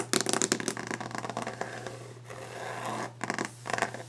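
Long orange-painted fingernails tap and scratch fast across a large, solid, varnished wooden desk top. Bursts of quick, bright clicking give way to a sustained rough scraping, then return to rapid tapping, all over a steady low hum.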